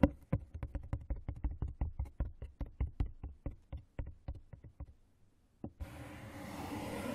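Fingertips tap and scratch the inside and rim of an open, hollow brown corrugated cardboard box. A quick run of about twenty dull, low, hollow knocks with very short decay comes first, then a brief pause and one more tap, then a steady broadband scratching hiss that grows brighter and slightly louder to the end.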